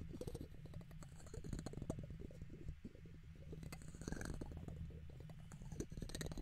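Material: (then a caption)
Metal mesh. A hand cups the top of a silver condenser microphone and scratches its hollow metal mesh dome grille with a red plastic guitar pick. Close up, the scraping is a dense run of quick scratchy clicks over a deep, muffled, boomy rumble, with faint bright rasps in a few passes.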